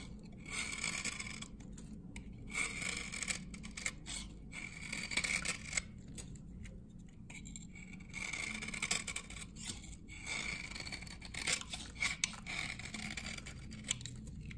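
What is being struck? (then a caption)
Glycerin soap bar shaved with a metal knife. A solid, dry amber glycerin soap bar from 1978, held in the hand, is repeatedly scraped and shaved with a flat metal knife blade as the shavings pile up on the blade. Short, dry, bright scraping strokes come in uneven bursts over a low, steady background. Each stroke is crisp with almost no ring.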